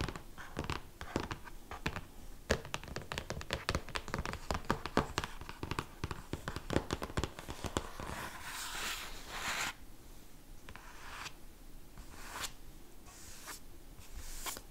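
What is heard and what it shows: Fingertips and short nails of both hands scratch and tap rapidly on the glossy cover of a large, closed hardcover art book lying on a table, making dense clicky ticks and scratchy strokes. Around the ninth second this gives way to flat hands rubbing the cover in a steady, softer hiss broken by brief brushing swishes.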